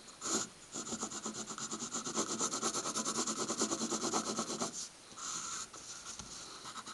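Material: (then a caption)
Paper. A pencil tip scratches short strokes on a stack of white paper sheets resting on a wooden table, filling in a small checkered pattern. A fast run of dry, bright scratching strokes continues for about four seconds, then pauses before a second brief burst of scratching.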